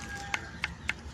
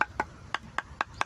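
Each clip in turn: First: ordinary coconut (niyog), dull and nearly soundless when flicked. Second: macapuno coconut, solid stone-like sound.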